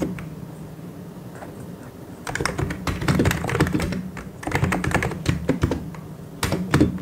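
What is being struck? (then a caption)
Plastic mechanical keyboard. Both hands type fast with their fingertips on a full-size white and grey mechanical keyboard with plastic keycaps. After about two seconds of near-quiet, dense bursts of quick, clacky keystrokes begin, with short crisp clicks over a thumpy low body. The typing breaks off briefly twice before the final flurry.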